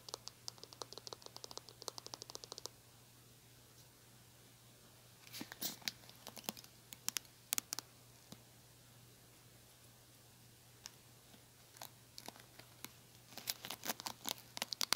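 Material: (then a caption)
Plastic. Fingernails pluck and scratch the plastic bristles of a small pink plastic hairbrush, producing rapid bursts of sharp, bright clicks and ticks. A fast run at the start is followed by a quiet pause, then scattered plucks and another dense cluster at the end, all over a faint steady low hum.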